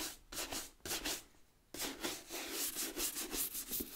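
A wooden bristle brush scrubs the rubber tread sole of a brown leather work boot turned upside down. Bright, hissy scratching strokes come in quick bursts, pause briefly, then resume in a steady run of rapid back-and-forth brushing.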